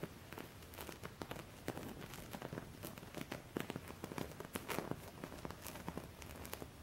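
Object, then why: Embroidered cotton cloth. Fingertips with painted nails scratch over the raised cutwork embroidery of a flat, thin white cotton linen cloth lying on a surface. The result is a quiet, continuous dry scratching and crinkling texture, dotted with many short, bright ticks and soft rustles that rise and fall in intensity.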